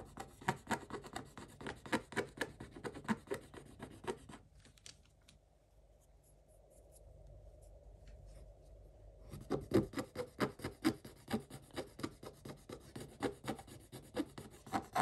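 A wooden stick scratches and strokes across a scratch-art book page of holographic paper with a black scratch layer, making quick, dry, uneven scraping strokes. Midway the strokes give way to a quieter, steady rubbing hiss for several seconds. Then the brisk scratching resumes until the end.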